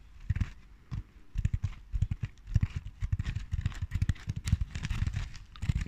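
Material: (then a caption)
Burlap. Long dark nails scratch and tap a large round Christmas ball covered in red and natural burlap with lace trim. A quick, irregular stream of soft, dull, low thumps mixes with a faint rough scratching over the fabric. Each tap stops at once with no ring.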